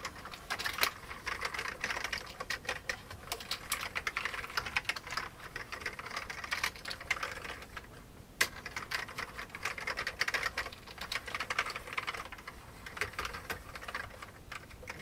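Fingertips type steadily on the keys of an old beige plastic computer keyboard, producing a dense stream of short, bright, clacky clicks with almost no low end and very little ring. The typing briefly thins out just before the eight-second mark, then a single sharper click restarts the rapid, continuous keystrokes.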